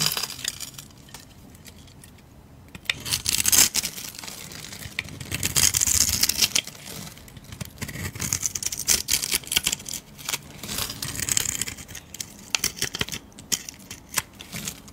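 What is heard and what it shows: A metal blade carves slices and strips from a solid, rectangular, cream-colored soap bar held in the palm of a red-nailed hand. After a quiet start, bursts of crisp, bright scraping and crunchy cutting begin at about three seconds and repeat steadily, with dull low thuds underneath.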